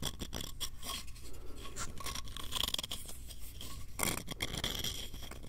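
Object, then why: Small light-wood box with ridged edges. Fingernails scratch quickly along the ridges and edges of a small, hollow, light-wood box with ridged edges, held close to the microphone. The result is a dense, continuous rasping texture with rapid ticking strokes, a steady low rumble underneath, and bright scratchy highs that flare up in brief louder bursts.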